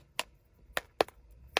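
Four sharp taps on the hollow plastic body of a 1:12 scale Wave Rider toy vehicle produce short, dry clicks with a hollow, midrange knock around 470 Hz. The part is hollow to accommodate the tail.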